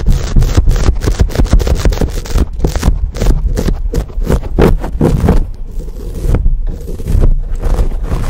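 Fingertips and nails from both hands scratch and squeeze a dark, fuzzy, hand-sized foam windscreen sitting over a microphone capsule. The result is a dense, continuous run of close, rough scraping and rustling with a heavy, boomy low rumble underneath. Brief bright crackling bursts flare throughout the clip.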